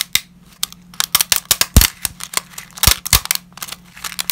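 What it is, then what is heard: Dry, brittle lasagna sheets cracking. Dry, brittle lasagna sheet pieces are crushed and snapped between black-gloved hands over a pile of pasta fragments. A rapid, irregular series of sharp, bright cracks and crunches follows, with a few heavier snaps that carry a deeper thump. A faint low hum sits underneath.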